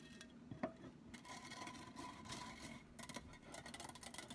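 Long nails scratch and rub the sides and rim of a hollow, empty black metal mesh cylindrical pen holder. A quiet, continuous gritty rasping comes in bright bursts, with one sharper tap near the start and a faint metallic ring that dies away quickly.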